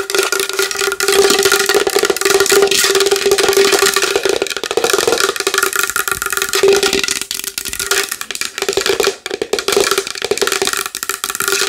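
Long nails tap fast and continuously on a large wooden bowl, producing a dense stream of sharp, bright clicks. A steady hollow tone around 414 Hz rings beneath the rapid taps, which stay crisp and short with little low end.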